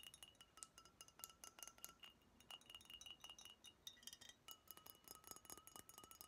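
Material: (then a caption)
Glass. Long nails tap rapidly on a brown glass beer bottle with a red label and cap, which looks empty and is held in the hands. Each tap gives a quick, bright, high clink, and a steady ringing glassy tone hums faintly underneath the taps. The result is a quiet, delicate, chime-like patter.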